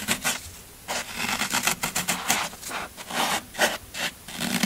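Fingertips and nails press, rub and crush the scraped surface of a solid green floral foam brick, and then the block is lifted in the hands. Bright, crunchy, scratchy bursts come in uneven waves with brief quieter gaps between them. There is little low end.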